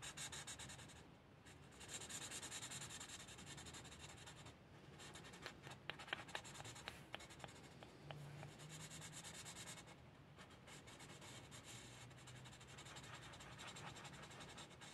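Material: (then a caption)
Paper. An alcohol marker's felt tip rubs back and forth across a flat, thin paper sheet in a coloring book printed with a cat pattern, coloring it in. A steady, bright, hissy scratching continues throughout, with a few sharp taps standing out in the middle of the clip.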